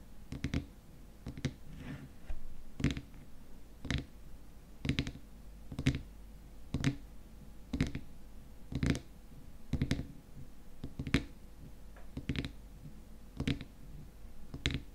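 Fingernails tap rapidly on the top of the frosted white plastic lid of a small glass cream jar filled with cream. The taps are short, dry clicks that die away almost instantly, coming in quick irregular bursts over a faint steady low hum.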